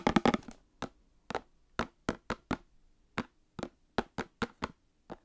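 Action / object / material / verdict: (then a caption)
tap / small cardboard box holding card packs / cardboard / none. A small Star Wars cardboard trading card box holding card packs is tapped and knocked with nails and fingertips. A quick burst of overlapping taps opens, followed by evenly spaced, dry, hollow knocks with almost no ring.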